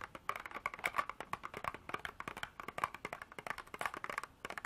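Long artificial nails rapidly tap and scratch a small, clear hard-plastic container held in both hands and partly filled with small beads. The result is a quick run of short, dry clicks and scrapes centered around 1.1 kHz, with bright edges and almost no low end.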